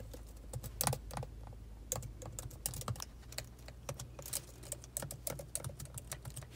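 Long pointed acrylic nails and fingertips type at a slow pace on the black plastic keys of a silver laptop. The result is a steady series of sharp, bright clicks and taps with an added echo effect, over a faint low hum.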